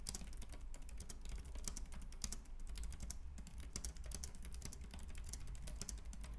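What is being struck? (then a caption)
Plastic keyboard keys. Fingertips type rapidly on a white, compact plastic Logitech K380 keyboard with round keys, producing a dense stream of quick, bright, short clicks. A steady low hum runs underneath the typing.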